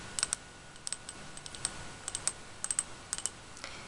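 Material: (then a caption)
Glass. A glass candle jar with a blue-tinted rim, filled with white wax, is tapped around the rim with long fingernails. Quick, light, bright clicks come in small irregular clusters over a faint steady hiss, each one dying away almost instantly.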